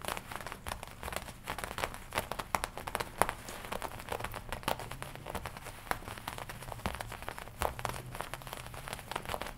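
Long nails tap and scratch the black leather front panel of a worn black and red studded leather biker jacket. A steady stream of quick, dry crinkling taps and scratchy rustles continues throughout at a soft level, with occasional sharper clicks standing out.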